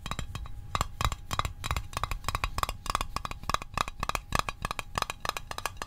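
A small, hollow, rectangular printed metal Altoids Arctic mint tin is held and tapped on its sides and lid with the fingertips and short nails. The result is a fast, uneven run of short, dry metallic clicks with a brief hollow ring near 1.1 kHz and a soft low thump under each tap.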